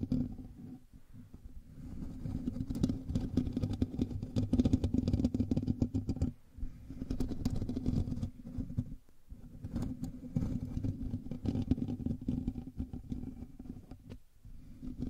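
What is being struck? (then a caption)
Metal mesh microphone grille. Fingernails of both hands scratch the hollow metal mesh grille of a black microphone. The result is a dense, rapid, low-heavy rumbling scrape with a steady midrange hum, coming in long bursts separated by brief pauses.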